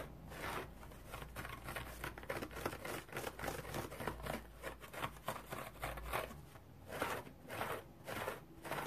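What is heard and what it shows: A round, dry, striped multicolored cellulose sponge is held and scratched with fingernails. Quiet, dry, rasping scratches come in irregular bursts, with a soft crinkling texture over a faint low hum.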